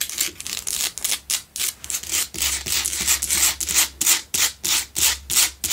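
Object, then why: Salt block candle holder. Long pale-blue nails scratch fast along the sides of a lit pink Himalayan salt candle holder, a solid salt block that holds two candles. The strokes make bright, dry, gritty rasps in a quick, fairly steady rhythm, each burst cut off sharply with almost no low end.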